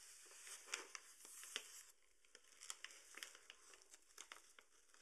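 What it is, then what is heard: Paper sugar bag being crinkled. Fingertips fold and crinkle the opened top of a tall, partly full paper bag of granulated sugar standing on a table. Quiet, bright paper rustling breaks into a series of short, sharp crackles with a steady dry hiss between them.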